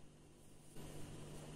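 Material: Nothing is struck.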